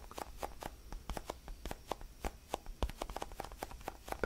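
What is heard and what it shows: A small, palm-sized orange basketball-style solid foam stress ball is held in both hands while fingertips tap and scratch its textured surface. About twenty quick, soft, dry taps and scratches sound in an uneven rhythm, each dying away almost at once, with a muted mid-range tone and little brightness.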